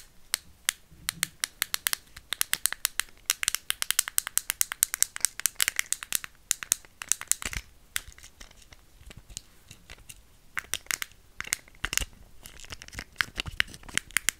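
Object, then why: Small plastic fidget cube. A small, solid white and pink plastic fidget cube is held close to the microphone and clicked, tapped and scratched with long nails. The result is a steady stream of sharp, dry, high-pitched clicks and ticks with no ring. Dense bursts of scratchy crackling pass between brief quieter pauses.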